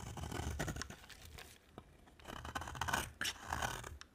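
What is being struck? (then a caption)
Solid soap bar scraped with a blade. A thinner solid cream bar of dry soap is carved with a utility-knife blade, with shavings piling up on a white surface. Dry, crisp scraping and shaving strokes come in bursts with a short lull in the middle and a sharp click at the end.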